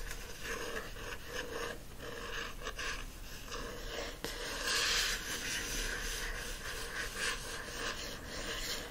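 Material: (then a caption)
Card. Fingertips and nails scratch and rub the glossy card front cover of a teal *Mistress Masham's Repose* paperback held flat. The result is a steady, bright, papery scratching with rhythmic rasping strokes, with a slightly louder, brighter stretch of scraping around the middle.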